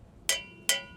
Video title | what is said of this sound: How to Pre-flight the Cessna 152 | now we're going to check the integrity of the exhaust system by tapping on it and listening for the ring